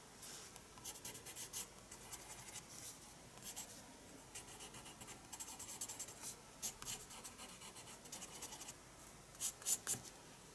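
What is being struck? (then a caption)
Paper spiral sketchbook with pencil. A pencil draws strokes on the paper page of a spiral paper sketchbook. Quiet, bright, scratchy strokes come in short bursts for about ten seconds, with a few sharper, louder strokes near the end.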